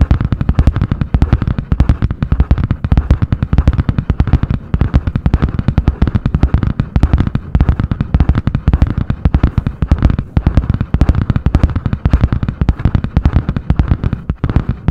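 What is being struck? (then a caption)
Spiral-bound notebook with cardboard cover. Long painted nails tap and scratch fast on the butterfly-print hard cardboard cover of a medium spiral-bound notebook. A dense, unbroken stream of short, dry, low thumping taps with a faint scratchy edge continues steadily for the whole clip.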